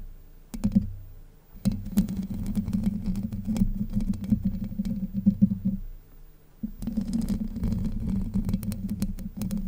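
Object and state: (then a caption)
Metal mesh microphone grille being scratched. Long white nails scratch and grip the hollow domed steel mesh grille of a Blue Yeti microphone, producing a dense, low rumbling scrape with a steady hum-like tone around 200 Hz. The scratching comes in bursts with brief quiet pauses near the start and just past the middle, and the grille's contact sounds stay muffled and close with almost no bright content.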